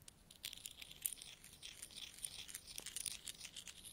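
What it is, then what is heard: Pile of metal coins. Fingertips rummage through a pile of mixed small solid metal coins on a carpet, picking coins up and letting them drop. The result is a quiet, continuous stream of bright clinks, jingles and rustling with almost no low end, each contact short and dry with no ring.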